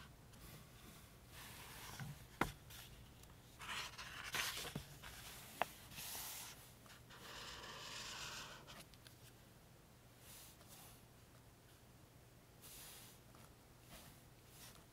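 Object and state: Felt-tip highlighter strokes on book paper.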